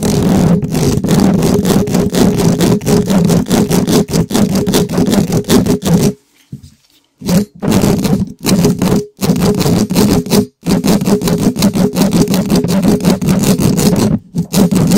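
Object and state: Metal mesh microphone grille being scratched.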